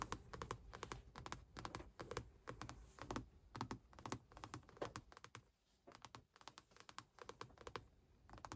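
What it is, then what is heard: Faux leather car armrest lid. Long acrylic nails scratch and tap a padded car center console armrest, covered in grey stitched faux leather over a hollow console lid. The result is quick, irregular bursts of soft clicky taps, each dying away almost at once, with a low, dull thump beneath them and faint scratching between.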